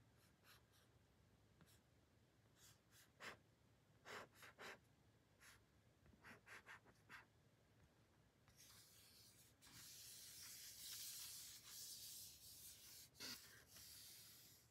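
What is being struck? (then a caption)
Thin matte paper card. Long painted fingernails slowly scratch and rub across a thin, flat, matte pink paper card with a printed name, making about nine short, separate bright scratches. In the second half the rubbing becomes a louder, continuous bright, hissy scrape across the surface.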